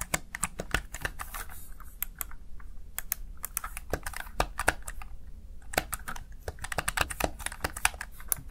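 Fingertips rapidly press the keys of a Razer Tartarus Chroma plastic gaming keypad, producing a dense stream of sharp, bright plastic clicks with brief pauses. The clicks die away almost instantly over a low, steady hum underneath.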